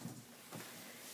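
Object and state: Nothing is struck.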